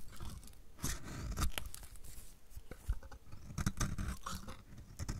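A metal utility blade repeatedly scrapes flakes off the edge of a solid, dry, purple striped bar of soap. The result is a run of crisp, crunchy scraping and flaking strokes, each with a dull low body and a bright, papery edge.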